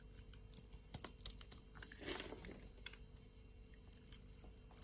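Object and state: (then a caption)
Bar of soap being carved. A utility knife blade carves a grid into a solid pink bar of soap held in the palm and shaves thin flakes off its surface. It makes a quiet series of crisp, bright ticks and light scrapes, with a longer rasping shave in the middle and a sharper crack at the very end.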